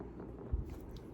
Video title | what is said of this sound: ASMR - Tapping on notebooks and folders - Soft-spoken rambling | And it has a very soft sound to it. It's faux leather bound.